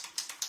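A splatter paint bottle is shaken, and its mixing ball rattles inside as a quick series of bright, high-pitched clicks. The rolling ball can be heard, which means the paint is properly shaken up.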